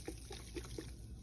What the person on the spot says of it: maybe you can hear there smaller granules in this one